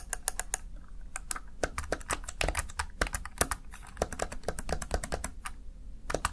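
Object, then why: Plastic gaming keypad. Fingertips rapidly tap and press the keys of a Razer Tartarus Chroma, a small black plastic backlit gaming keypad. Quick, short plastic clicks come in uneven bursts over a low, steady background hum.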